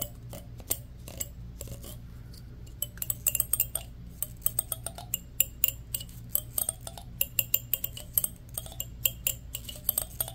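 A fingertip and fingernail run fast across the teeth of a solid black plastic wide-tooth comb, making rapid, bright clicks. The short, sharp clicks come in quick, uneven bursts over a steady low hum.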